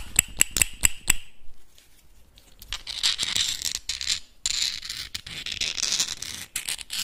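Small, hard, hollow clam shell halves held in the fingers are clicked together five times, giving sharp, bright clicks with a faint high ring. After a short quiet pause, fingernails tap and scrape across the shells in a dense stream of quick, crisp, scratchy clicks.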